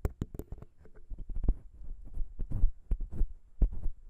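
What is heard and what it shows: Long pink nail tips of both hands scratch and tap the small chrome metal microphone capsule of a Zoom H6 recorder. Quick, irregular clicks and soft scrapes sit over a deep, thumping low end, with a few sharper taps that reach bright and high.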